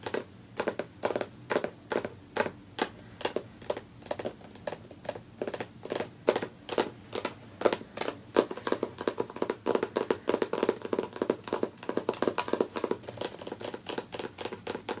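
Long natural nails on both hands tap and scratch fast on the front cover of a closed, solid "Touch the Earth" hardcover book with a paper dust jacket, resting on a fabric couch. Dense, crisp clicks with a papery mid tone follow one another rapidly, each dying out almost at once, joined by soft scratching that thickens the texture over the second half.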